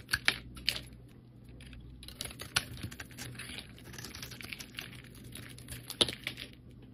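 A metal blade shaves thin layers from a solid rectangular cream soap bar with colored edges. It makes a run of crisp, bright scraping crackles with a few sharper clicks standing out, over a faint low hum.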